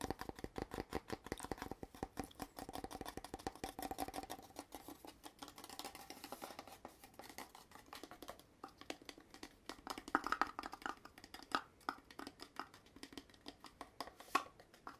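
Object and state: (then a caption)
Cardboard poster tube. Fingertips and nails rapidly scratch and tap the surface and gold-rimmed end of a hollow red cardboard poster tube, apparently paper-covered and seemingly empty, held in both hands. Dense, quiet papery patter with a hollow midrange body gives way to sparser, sharper taps and a few brighter clicks on the rim, each dying almost instantly.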